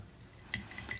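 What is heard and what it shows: A German silver match case, carried for many years, is held in the hand and gives three light metallic clinks over a quiet, low hum. Each clink rings briefly at about 2 kHz with a bright edge and fades quickly.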